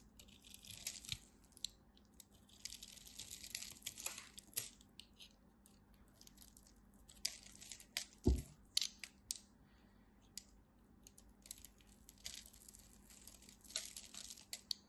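A small blade scrapes crunchy cubes off the scored surface and edge of a solid red-and-white striped dry bar soap held in long-nailed fingers. Bursts of crisp, bright crunching and crackling come in irregular clusters over a low background hum, with one sharper, louder snap around the middle of the clip.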